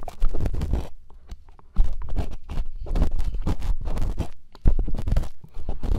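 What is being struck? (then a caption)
Silicone ear replicas scraped with plastic earpicks. Two plastic earpicks held in fingertips scrape and scratch inside the hollow ear canals of two soft white silicone ear replicas on a binaural microphone at the same time. Dense, rapid scratching and rubbing with a heavy low rumble comes in bursts that swell loud near the start and again at about 2 and 4.7 seconds, then fade to softer scraping between them.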